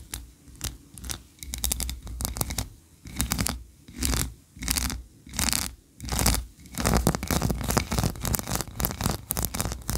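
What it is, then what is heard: Wax tree-shaped candle. Long nails scratch quickly over the ridges of a solid white ribbed wax tree-shaped candle. The result is bursts of dry, bright, raspy scratching separated by short pauses, with a low rumble underneath. Near the end the scratching runs into a denser, continuous stretch.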